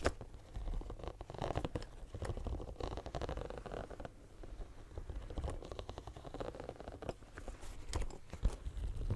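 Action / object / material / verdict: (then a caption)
scrape / silicone studded pencil case / silicone / none. Fingernails scratch the studded surface of a hand-sized pink bumpy silicone pencil case held next to a microphone. The result is a continuous, close, muffled patter of soft scratches and rubbery crunches, heavy in low rumble with almost no brightness and no ring.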